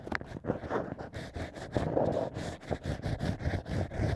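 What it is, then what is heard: Natural cork scraped. A bamboo ear pick scrapes inside the drilled hole of a stack of natural cork wine corks while fingers steady the cork. The result is a run of soft, scratchy scraping strokes and rustles, each a brief burst of bright hiss over a low, dull rub.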